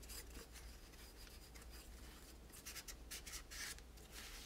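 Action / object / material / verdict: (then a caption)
scrape / plastic toy tower / plastic / none. A large hollow multi-part plastic toy tower with teal spirals and pink pieces is held in hand and wiped with a microfiber cloth by fingertips. The result is a quiet, steady rubbing and swishing with brighter, airy cloth strokes toward the end, over a low constant hum.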